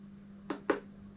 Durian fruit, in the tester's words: เคาะดูก่อนเนี่ย จะมีเสียงนี้นะนี่ นะแสดงว่าใช้ได้แล้ว